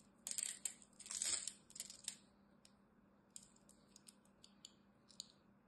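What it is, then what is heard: Dry bar soap being cut. A black-handled knife blade cuts and scrapes crumbly cubes off the face of a solid, palm-sized green bar of dry soap held in the hand. Bright, crisp crunching and scraping bursts fill the first two seconds, then thin out into sparse, short ticks and crackles over a quiet low hum.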